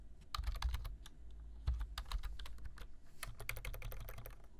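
Fingertips type on a black plastic computer keyboard, giving a steady run of quick, bright key taps over a dull low thump. The clicks come close together and fade almost at once.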